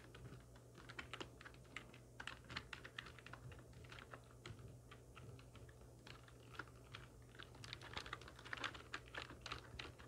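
Long nails and fingertips of both hands type on a full-size black plastic computer keyboard with hollow keys resting on a wooden desk. The result is a quick, uneven run of sharp, bright clicks and clacks, each dying away almost at once over a steady low hum, with the tapping growing denser and louder toward the end.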